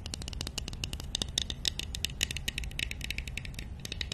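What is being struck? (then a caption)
Small lacquered wooden nesting doll. A small, hollow, painted and lacquered wooden nesting doll, held in one hand, is scratched and tapped with long nails. The result is a rapid, dense stream of crisp, bright clicks and ticks that die away almost instantly, over a soft low rumble.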